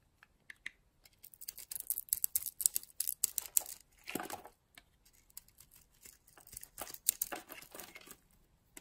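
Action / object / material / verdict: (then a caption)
scrape / bar of soap / soap / none. A metal utility blade carves and scrapes a solid oval red bar of soap with a purple core, held in the palm, shaving it into flakes. Soft, dry, crackly scrapes come in quick bright bursts, with one longer, fuller scrape midway, all at a quiet level with almost no low end.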